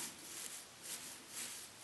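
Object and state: Nothing is struck.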